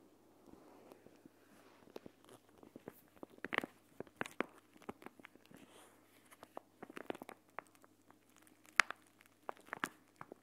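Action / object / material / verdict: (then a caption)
scrape / plastic pouch filled with gel beads / plastic / none. A clear plastic gel bead eye mask, a pouch filled with green gel beads, is held, folded, squeezed and rubbed by hands with dark-painted nails above the recorder. Quiet, sharp crinkling crackles and brief clicks pop out irregularly over a faint soft rustle. Each snap is bright and dies away almost instantly.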